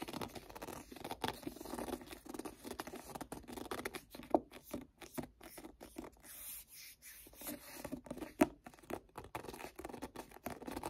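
Fingertips rapidly tap and grip the card cover of a paperback book, making a quiet, dense patter of soft, dry taps and scratchy rubbing with a low-mid, papery tone. Two sharper clicks stand out, one near the middle and one toward the end.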